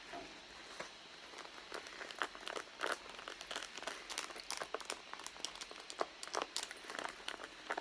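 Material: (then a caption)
Leather. Long blue nails scratch and tap the pebbled leather surface and the side edge near the zipper of a red leather handbag lying flat, a hollow, soft bag, with bracelets worn on the wrists. Quick, dry taps and scratchy crinkles come in irregular bursts over a steady faint hiss, bright and papery with no low-end thump and almost no ring.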